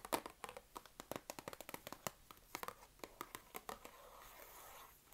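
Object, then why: Cardboard box holding wooden craft sticks. Long red-painted nails tap and scratch a small, partly empty, open cardboard box of wooden craft sticks held in both hands. A quick, uneven run of about 25 dry, crisp taps with no ring gives way to a steady, hissy scratch over the last second, all at a quiet level.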